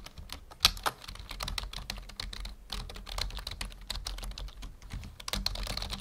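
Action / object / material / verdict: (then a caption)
tap / plastic membrane computer keyboard / plastic / none. Fingertips of both hands type steadily on a full-size black plastic membrane keyboard resting on a wooden desk. The result is a dense run of quick, bright, dry key clicks with a soft low thud beneath, with a couple of sharper, louder strikes standing out early on.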